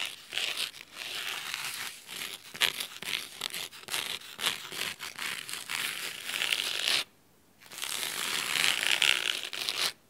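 Fingernails scratch along the fabric spine and top cover of a thick navy cloth-bound hardcover book resting on a wooden table. The result is a steady run of crisp, bright, dry scratching strokes with no low end, broken by one brief silence about two-thirds of the way through before the scratching resumes.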